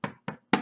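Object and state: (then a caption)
Loosely hooped embroidery fabric. Three taps on fabric stretched over stabilizer in an embroidery hoop give short, soft knocks with a low pitch around 210 Hz that fade quickly. The fabric is not yet drum-tight, so it is still too loose and needs to be tightened further.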